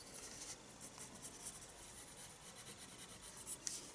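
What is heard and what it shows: A graphite pencil is drawn in short strokes across the page of a small spiral-bound paper sketchbook, a solid stack of sheets lying flat on a wooden desk. The result is a quiet, bright, continuous scratching with a slightly sharper scrape near the end.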